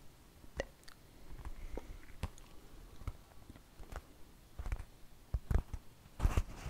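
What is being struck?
Thin flour tortilla tapped and scratched with fingernails.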